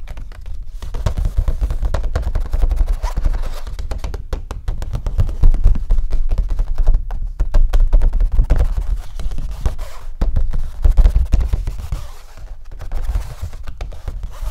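Fingertips tap and drum rapidly on the taut face of a stretched canvas print of Nighthawks, about 40 cm across, lying flat with the canvas pulled over a wooden frame and hollow behind. The dense, quick taps give a low, hollow, drum-like thudding with very little brightness, and each hit dies away fast.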